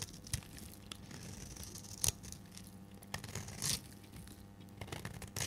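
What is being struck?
Bar of soap cut with a metal blade.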